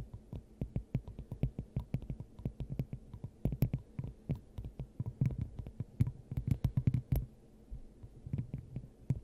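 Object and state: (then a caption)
Glass dome tapped with fingernails. Long acrylic nails tap rapidly and unevenly on a clear, hollow, hand-sized glass dome fitted over the top of a microphone. The taps come through as soft, hollow, low thumps with a dull resonant hum around 125 Hz and only faint bright clicks on top. Each tap dies away almost instantly over a steady low rumble.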